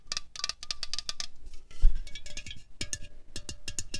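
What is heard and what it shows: A slim, hollow 0.33 L Coca-Cola Cherry aluminium can resting on a tablecloth is tapped with long fingernails and fingertips. The result is a quick, uneven run of bright, clicky metallic taps, each dying away almost at once, with a brief louder, duller knock near the middle.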